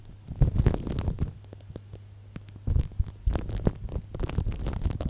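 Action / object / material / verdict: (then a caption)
scrape / plastic cling film stretched over a microphone / plastic film / none. An upright microphone tightly wrapped in clear plastic cling film is tapped and rubbed with the tip of a small blue-and-white plastic tube, a marker or lip balm. Close, low, muffled thumps and crackling rustles come in bursts, with a steady low hum between them.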